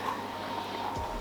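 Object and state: Nothing is struck.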